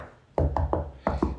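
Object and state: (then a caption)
Hollow, rotted pressure-treated wooden beam. Six knocks on a pressure-treated wood beam give short, dull, low thuds that die away quickly, three in a row, then a pause, then three more. The beam sounds hollow because it is rotted inside, and the hollow, water-filled interior was confirmed.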